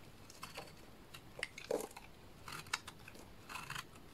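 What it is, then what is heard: Bar soap being cut. A solid pink bar of soap is held in the hands while a small blade cuts off chunky flakes that pile onto a mat. Soft, crisp scraping and crunching cuts come in short bursts, with quiet gaps between them.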